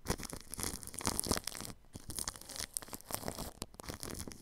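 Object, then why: Plastic cling film wrapped over a microphone grille. A paintbrush brushes across plastic cling film wrapped over a ball microphone's grille. The result is a continuous run of crinkly, scratchy strokes with a bright, papery hiss and some low rumble, briefly dropping off near the middle before the brushing resumes.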